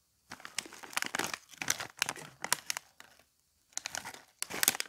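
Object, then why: Foil-lined plastic snack bag. Fingertips grip, crinkle and rub a small printed foil-lined plastic snack bag of Taro Potato Barbecue chips, then tear the top open. Bursts of dry, bright crinkling come in bunches separated by short silences, with almost no low end. It ends in a louder, dense crackling rip.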